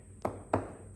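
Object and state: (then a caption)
Tonally dead laminated hardwood panel. A gloss-finished laminated hardwood panel with attractive grain, considered as a cajon face, is tapped twice, giving two short, dull thuds with a low thump around 100 Hz and almost no ring. The panel is tonally dead and would kill the drum, so it is rejected.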